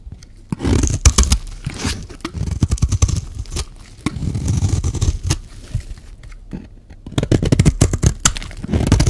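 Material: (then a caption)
Soap. A metal utility-knife blade shaves a solid white bar of dry soap, producing rough, crumbly scraping strokes in bursts separated by short pauses. Each stroke is a dense, grainy rasp with a heavy low-end thud and a faint bright hiss on top.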